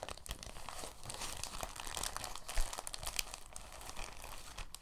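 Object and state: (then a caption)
Plastic bag being crumpled. A thin, translucent, empty plastic bag is crumpled and spread out by hands. It produces a steady, soft, bright crinkling with dense little crackles and a brief louder rustle near the middle.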